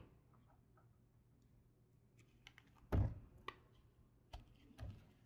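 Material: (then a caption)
Soap. A red patterned knife blade carves and scrapes the surface off a solid light blue bar of soap held in the palm. After a quiet, low hum, short dry scraping crackles arrive in quick bursts, with the loudest shaving stroke near the middle. Each stroke is crisp, bright and brief, with almost no ring.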